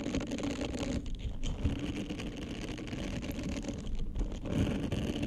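Fingertips and nails scratch and rub across the soft bristles of a small, flat, orange, heart-shaped silicone face-cleansing pad, which is solid and flexible and held in both hands just in front of the microphone. The result is a dense, continuous rustling scratch with a strong low, rumbly body and faint brighter hiss, swelling and dipping slightly as the rubbing continues.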